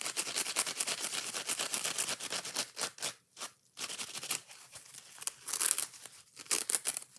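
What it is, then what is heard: Kitchen sponge with scouring pad. A foam kitchen sponge with a green scouring pad, held in one hand, is scratched rapidly by long nails across the scourer, and the foam is squeezed. The result is a dense run of bright, crackly scratching strokes with short quiet gaps in the middle, then more fast, hissy scraping.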